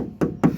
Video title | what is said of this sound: MITSUBISHI CLOT 120SS. Review Kondisi Mobil Bekas & Cara Pengecekan Sebelum membeli. #Pemburukomisi | ini kan udah nggak nyaring ya, ini kemungkinan sudah ada dempulnya, sudah pernah didempul jadi agak tebel